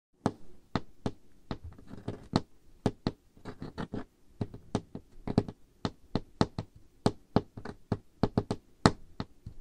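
Medium-length dark-painted nails and the fingertips of both hands tap on a large, solid, dark-stained wooden table surface. The result is a steady, irregular run of short, dry knocks, each with a low woody thud and a brief bright click that dies away almost at once.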